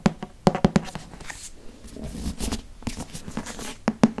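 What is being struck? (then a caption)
Hardcover paper book. Fingernails tap and scratch the glossy front and back covers of a solid green hardcover Harry Potter book. Sharp, dull taps with a low thud near 220 Hz open and close the clip, with softer scratching and tracing across the cover in between. Each tap dies away almost at once.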